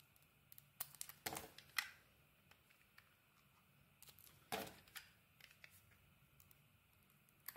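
A utility knife blade shaves slices off a solid green dotted bar of soap, its cream core now showing. Soft, crisp scraping strokes and light bright clicks come at irregular intervals, with a few longer rasping cuts standing out over a quiet background.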